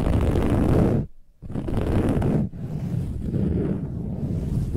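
Long nails on both hands scratch aggressively across the cover of a soft, silver, textured metallic woven fabric pillow. The result is a dense, rough, rustling scratch weighted toward the low end, broken by a brief near-silent pause just after the first second and a short dip midway.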